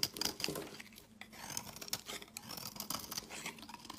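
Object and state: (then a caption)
Olive oil soap bar being shaved. A solid pale green rectangular Dalan olive oil soap bar is shaved with a utility knife blade into crumbly curls. The result is a run of quiet, bright, dry scraping and crackling strokes with a faint high ring, and little low end.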